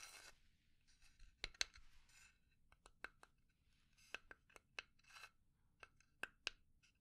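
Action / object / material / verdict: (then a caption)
tap / small pine wood box / pine wood / none. Long dark nails scratch and tap a small hollow pine box with burned grain and an engraved J on its lid. Quiet, bright scratching rasps alternate with sharp, clicky taps that stop almost instantly, with little low-end body.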